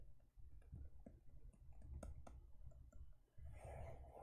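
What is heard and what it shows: Long nails scratch and rub the textured back of a closed teal faux leather e-reader cover. The result is a quiet, low, muffled rubbing broken by scattered soft ticks and clicks, turning into a brighter scratchy hiss near the end.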